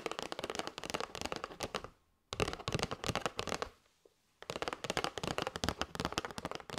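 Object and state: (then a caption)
Cardboard box of paper straws. Long white nails tap quickly on the face and edge of a flat kraft cardboard box with a clear plastic window, full of paper straws. Dense bursts of dry, bright, crisp clicks with almost no ring are broken by two brief silences before the tapping resumes.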